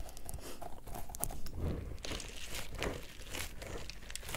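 A small yellow pineapple-shaped squishy stress ball, with a stretchy rubber skin filled with gel beads and a green leaf top, is squeezed with fingers and thumbs. It makes a steady run of soft, low, crunchy squelches and crinkles, with brief bright clicks on top as the beads shift. The sound stays quiet and close throughout, with no ring after each squeeze.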